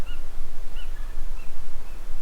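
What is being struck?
Nothing is struck.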